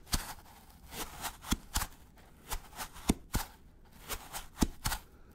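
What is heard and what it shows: A gloved fingertip scratches the flat side of a white polystyrene foam packaging block in short, irregular strokes. About eight sharp, dry scrapes with quick clicky onsets stand out over a soft, hissy rustle, each dying away almost instantly.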